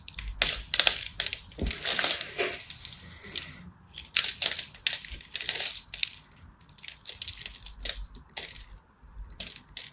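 A palm-sized purple and white striped solid soap bar, held in the hand, is scratched and scored by a small black blade while dry crumbs flake off. Dense bursts of crisp, bright scraping and crackling come and go in quick clusters, each tick dying almost instantly with almost nothing low in the sound.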